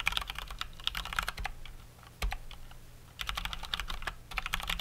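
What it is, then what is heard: Mechanical keyboard being typed on. Both hands type fast with their fingertips on a full-size COX Dauntless plastic mechanical keyboard with Cherry MX Brown switches and plastic keycaps. Quick, bright clacks come in dense bursts over a steady low hum. Around the middle the typing slows to a pause broken by one louder thump, then the fast clatter resumes.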